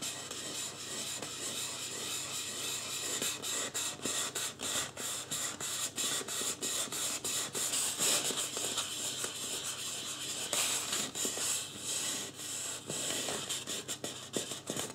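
Fingertips rub and scratch the scalp area of a life-size white polystyrene foam mannequin head with drawn-on marker hair, lying on a wooden floor. The sound is a dry, bright, hissing scratch made of many short, irregular strokes, with almost no low end and a quick fade after each stroke.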